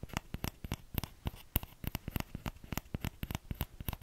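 Fingertips tap the hollow bowl of a small orange plastic ladle in a quick, uneven run of about 24 light taps. Each tap is a short, dry knock with a soft low body and a bright clicky edge, dying away at once with no ring.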